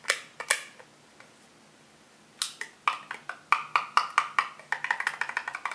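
A small blue plastic spool wound with red-and-white thread or wire is held in one hand while its flange is tapped with a fingertip and nail. About 22 short, dry, hollow clicks sound with a woody, bright tone around 1.2 kHz and almost no ring: a few scattered taps, a quiet pause, then a quicker, uneven run of taps.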